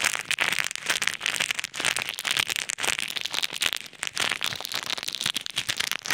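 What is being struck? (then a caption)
Small plastic bag of plastic pearl beads. Fingertips squeeze and rub a small clear bag full of plastic pearl beads, and the beads rattle inside. The result is a dense, bright, continuous crackling and rustling with almost no low end.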